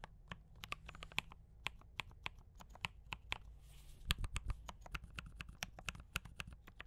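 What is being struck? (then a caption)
Mechanical keyboard with plastic keycaps. Both hands type continuously with fingertip taps on a compact mechanical keyboard with D84 brown switches and cream and red plastic keycaps. Each key press gives a short, crisp click with a bright top and a dull low thock underneath. The presses come in a steady stream, with a brief soft hiss midway.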